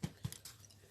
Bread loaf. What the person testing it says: It's hollow, it's done. This is it. It's dry, it's done.